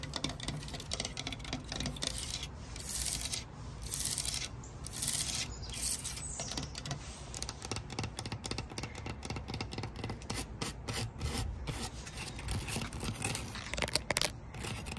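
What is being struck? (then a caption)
Wooden slatted folding chair. Long acrylic nails tap and scratch along the thin flat slats and frame of a light natural-wood folding garden chair with open gaps between the slats. The result is a steady stream of quick, dry clicks mixed with bright, rasping scratches over a low background rumble.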